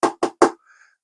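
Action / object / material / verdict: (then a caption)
knock / 3D-printed plastic figurine base / plastic / hollow. Three knocks on the hollow 3D printed plastic base of a Whitebeard figurine, printed hollow to save material. Each knock gives a short, hollow, midrange thud around 330 Hz that dies away almost at once, followed by a faint high tone.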